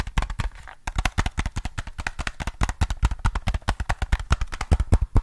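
A hollow black plastic PS3 controller is held in one hand while the other hand's fingertips tap its back and sides. The result is a rapid, uneven series of about three dozen short, dull, low knocks with almost no ring, broken by a brief pause just before the one-second mark.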